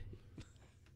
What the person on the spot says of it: there's not wood under there it's plastic